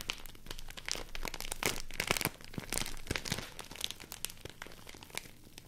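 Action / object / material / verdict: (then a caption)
scrape / large folded sheet of rice paper / paper / none. A large folded sheet of white rice paper is crinkled and rubbed by hand with long nails. The result is a dense run of dry, crisp crackles and rustles, with sharp bright snaps spread across the whole clip.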